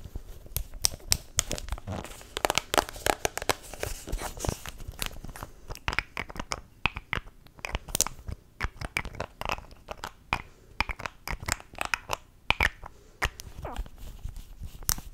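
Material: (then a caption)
Plastic. Long nails tap, twist and scratch the pink cap and body of a small mint-green plastic cosmetic tube. The result is a dense stream of sharp, dry clicks and crinkly, crunchy scratching with a bright, high edge. Each tap stops instantly with no ring.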